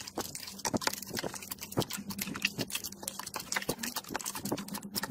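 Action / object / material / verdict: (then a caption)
tap / fluffy slime in a plastic tub / slime / none. A large mass of soft, pink fluffy slime in a clear plastic tub is pressed, poked and squeezed by fingers and knuckles. It makes a rapid stream of short, bright, wet clicks and sticky pops over a faint low hum, with crackling bursts as the slime is worked.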